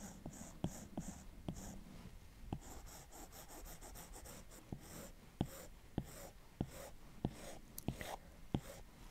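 A plastic Apple Pencil tip strokes the glass screen of a large iPad Pro in short, repeated drawing strokes near the bottom of the canvas. Quiet, soft scratching and brief bright swishes are punctuated by sharp, dry taps that die out instantly over a low, steady background rumble.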